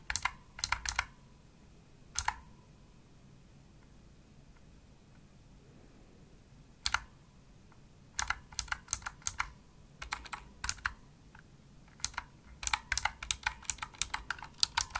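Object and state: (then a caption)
Plastic mechanical keyboard. A pink Razer opto-mechanical keyboard with plastic keycaps is typed on with the fingertips of both hands resting on the keys throughout. Bursts of sharp, bright, clicky keystrokes come in uneven clusters, separated by quiet pauses with a faint low hum. Each keystroke is dry and short with almost no ring.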